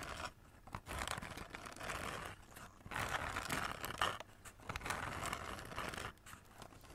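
Long nails scratch the glitter paper and silver foil wrapped around a hollow cardboard Christmas cracker held horizontally over the mic. The result is a dense, bright, crinkly scraping that comes in bursts with short quieter gaps between them.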